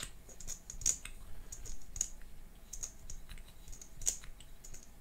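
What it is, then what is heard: Plastic lipstick tube. A small pink plastic liquid lipstick tube with a gold cap, closed and hollow, is held in both hands and tapped with long manicured nails. Quick, bright, dry clicks come in an irregular, typing-like patter with a few sharper peaks, over a low steady background hum.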